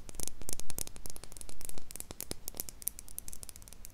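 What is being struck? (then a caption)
Small glass jar with metal screw lid. Long pink acrylic nails tap and scratch the sides of a small, empty, clear glass jar with a silver metal screw lid, held in both hands close to the microphone. Quick, irregular bright clicks and scraping ticks come in dense clusters over a low, muffled rumble. Each tap is short and dies away almost at once.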